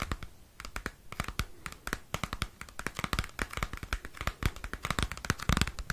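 Fingernails scratch and tap a small square cardboard CD album sleeve close to the microphone. Many quick, dry clicks and scratchy rasps come in an uneven stream, each stopping dead with no ring. Some taps land with a soft low thump and others sound brighter and papery.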